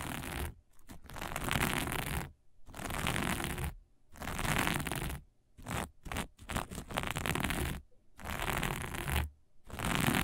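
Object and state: Sequin fabric scratched.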